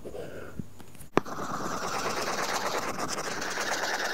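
A stylus scratches back and forth in shading strokes across an iPad's flat glass screen fitted with a matte, paper-feel plastic film. After a few soft, quiet strokes, a sharp tap sounds just past the first second. It is followed by steady, dense, papery scratching with a bright hiss that continues to the end.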